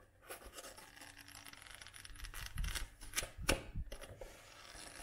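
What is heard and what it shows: Long nails tap and scratch on a paperback book, first on the cover while it is held flat, then on the page block with the book on its side. The result is quiet, irregular, dry clicks and scratchy rasps, with a few louder, brighter taps near the end.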